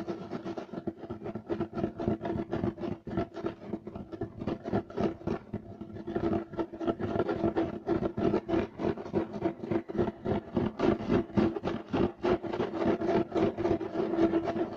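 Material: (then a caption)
Woven fiber. Clawed fingertips quickly scratch a beige, striped loop-weave woven fiber carpet. The result is a rapid, somewhat irregular stream of dry, raspy scratching strokes with a midrange tone and little low end. Each stroke stops short, and the scratching grows louder and denser after the first few seconds.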